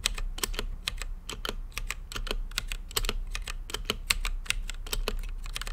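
Fingertips type quickly on an RGB-lit mechanical keyboard with plastic keycaps and a clear acrylic case. The result is a rapid, uneven stream of sharp, bright clacks that die away almost instantly, peaking around 2.8 kHz over a steady low rumble.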